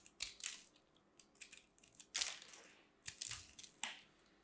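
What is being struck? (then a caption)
Grated-soap ball cut with a metal blade. A solid pink grated-soap ball held in the hand is carved with a metal blade, and pieces crumble off. The result is a series of quiet, bright, crunchy scraping and crumbling bursts with almost no low end, some longer strokes trailing off gradually.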